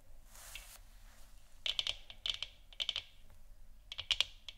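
Long dark nails scratch and tap the upper and lower surface of a hollow plastic moon lamp sphere. A soft, airy scratch opens the clip, followed by groups of quick, dry clicking taps with a bright ring centred around 3.3 kHz that die away almost instantly.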